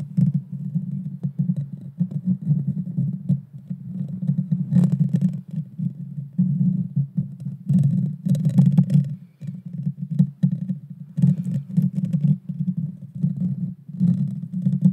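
Long dark fingernails scratch and grip the small, hollow, round metal mesh grille of a Blue Yeti Nano microphone. The result is a dense, muffled, low rumbling scrape that surges and dips throughout, with occasional bursts of brighter crackle.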